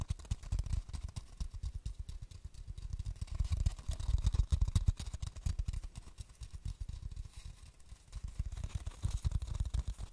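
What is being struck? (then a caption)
Cardboard tube. A long, hollow, apparently empty cardboard tube with a white label is held horizontally in both hands above a microphone while fingertips tap or rub along its surface. The result is a dense, continuous stream of soft, quickly damped, deep hollow thumps that swell and fade in loudness throughout, with a faint high hiss above.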